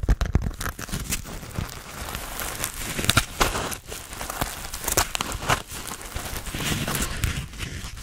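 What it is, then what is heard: Foam sponge. Fingertips scratch and rub the surface of a hand-sized grey porous foam sponge with a foam handle, held close. The result is a dense run of dry, crinkly, crackling scratches with brief sharp bursts over a soft low rumble, rising and falling in loudness throughout.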